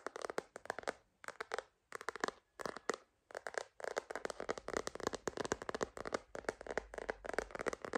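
A hard plastic purple glitter phone case with a holographic rim, held upright as a hollow shell, is tapped with long green nails. Quick, dry clicking taps come in short bursts separated by brief pauses, then run together into a steady stream. Each tap is bright and mid-pitched and dies away almost instantly.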